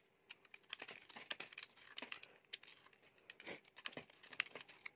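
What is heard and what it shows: A utility knife blade scrapes and carves flakes off a solid oval soap bar, blue outside and white inside, held in the palm. A quick, uneven series of short, crisp scraping and crackling cuts comes through, bright and dry with almost no low end and no ring after each stroke.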